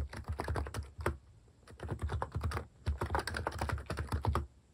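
Fingers type continuously on a plastic mechanical keyboard fitted with cat-face keycaps, producing rapid, deep, thocky key taps with bright clicky edges. Bursts of typing are broken by brief pauses.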